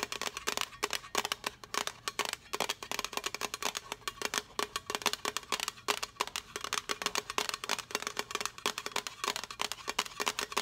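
Long nails tap rapidly on the front face and lid of a small, hollow, rectangular blue printed metal tea tin. The result is a dense run of bright, clicky metallic taps with a faint ring near 414 Hz that dies away almost at once.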